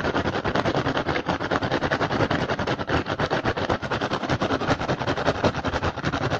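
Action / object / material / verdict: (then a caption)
tap / upturned woven rattan basket / rattan / none. An upturned, hollow, empty woven rattan basket is tapped rapidly with the fingertips and scratched with the nails of both hands. The result is a dense, fast stream of dry, short clicks and raspy scratches with a hollow body and bright crackle, carrying on steadily throughout.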